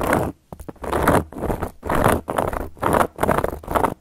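Long gold metal claw nail caps scratch and tap across a round, flat, solid cork board. Dry, rustling scratching strokes come in uneven bursts about once a second, with a few quick taps near the start. Each stroke stops short with no ringing.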